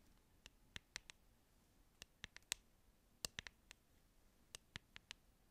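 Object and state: Clear plastic hairbrush.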